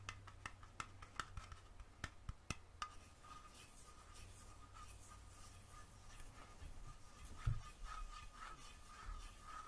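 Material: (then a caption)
Metal. Long fingernails tap the metal screw lid of a small glass mason jar with purple contents, held in one hand. The first few seconds bring a quick run of sharp, bright clicks, which fade into softer, quieter tapping and scratching over a steady low hum and a faint constant tone.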